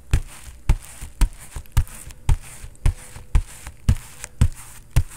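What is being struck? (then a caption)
Foam-padded vinyl boxing focus mitt. A bare fist strikes a foam-padded vinyl focus pad, a synthetic leather boxing focus mitt, in fast knocks. About fifteen short, deep, dull thuds land at an uneven pace, each dying away almost at once.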